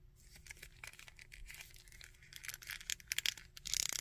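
Fingernails scratch the coat and head of a small plastic Red Skull action figure while fingertips move its legs. The result is a dense, bright, dry scratching and crinkling with short clicky bursts, growing louder and busier toward the end.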